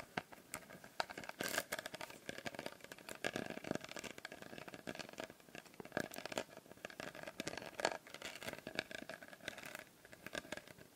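A small glass bottle with a blue glitter label is tapped with fingernails close to the microphone. The result is a quiet, rapid stream of light, bright clicks and scratchy taps, each with a brief glassy ring that fades almost at once, and a few louder taps stand out along the way.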